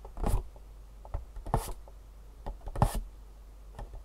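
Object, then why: Cardboard box. Long nails rub and scratch across the top and side faces of a long, hollow, printed cardboard shoe insole box. Short, uneven bursts of dry, papery scraping carry a bright hiss over a dull, hollow low body. Quiet pauses fall between them.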